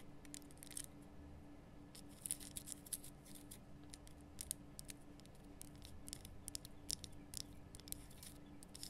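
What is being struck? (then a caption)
Rock salt lamp. Long nails scratch and tap a large, rough, glowing pink Himalayan rock salt lamp, a solid salt block cupped in both hands. Quiet, dry, bright clicks and short scratchy rasps come in irregular bursts over a soft, steady low hum.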